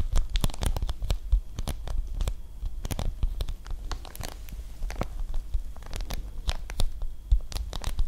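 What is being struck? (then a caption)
Coated paper or plastic film pouch. Long nails scratch and tap the flat face of a large, flat, pale-blue Ojouvence packaging pouch made of coated paper or plastic film. The result is a dense run of sharp, dry crinkling scratches and quick taps over a low, steady hum.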